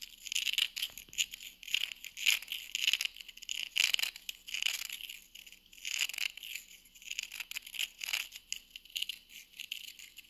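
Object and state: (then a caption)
Wooden coaster edge tapped and scratched with nails. Long nails tap and scratch along the edge of a small, flat, solid round wooden coaster held edge-on. The result is a rapid run of crisp, dry clicks and short scratchy swipes, almost entirely high and bright, with a tone near 2.9 kHz and no low end. Each tap dies away almost instantly.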